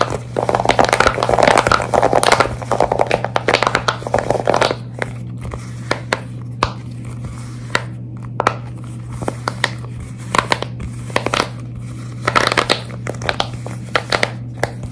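Hands grip and bend a large square silicone pop-it fidget toy with hollow bubbles while long red nails scratch and tap its surface. Dense, crinkly scratching and squeezing fills the first five seconds, then gives way to sparse, sharp, bright taps and short scratch bursts. A steady low hum runs underneath throughout.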